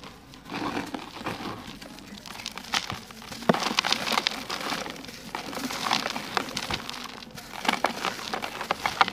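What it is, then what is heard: Dry sand-cement lump crumbling. Bare fingers squeeze and crumble a fist-sized solid lump of dry grey sand-cement mix in a green plastic bucket, letting grainy powder fall onto other lumps of the same material. The result is a steady, dry crunching and crackling with many quick, bright gritty snaps and a light sprinkling patter, growing louder in several bursts.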